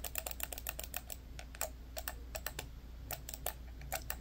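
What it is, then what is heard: Plastic computer mouse clicks. An orange and black hard-plastic corded computer mouse, small and hollow, has its buttons clicked rapidly by both thumbs. Sharp, bright plastic clicks come in quick, uneven bursts, each dying away almost at once over a steady low hum.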